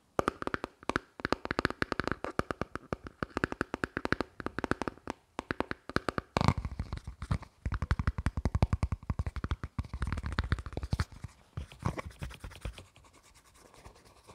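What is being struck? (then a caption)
Thin plastic flower-shaped dish. A small, thin, hollow green plastic dish with scalloped flower-shaped edges is held in the hands while fingertips and nails tap and scratch its rim and underside. The result is a long run of quick, dry, hollow clicks and taps with very short ring, mostly low and dull in tone, fading into softer scratching near the end.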